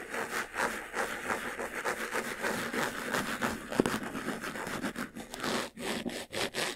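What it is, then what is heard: Faux leather jewelry box being scratched. Fingertips rub and scratch quickly over the sides and front of a closed, hollow, medium-sized white textured faux-leather jewelry box. The result is a dense, dry, rasping scratch with a papery hiss, mostly midrange and bright with almost no low end. Short strokes pulse unevenly throughout, with one brief sharper tick in the middle.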